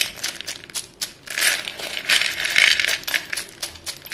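White chalk sticks in a dark bowl are scooped, dropped and stirred by two dusty hands, so they clatter together. Bright, dry clicking and rattling comes in dense bursts, with a few louder rushes of clatter and almost no low end.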